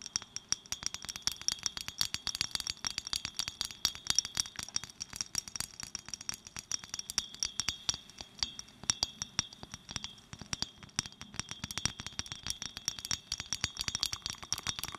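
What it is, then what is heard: Small glass bottle tapped with nails. Long nails tap fast and gently on a small clear glass bottle, making a dense, continuous run of quick, bright clinks. Each tap is short and dry, with almost no ring and very little low end.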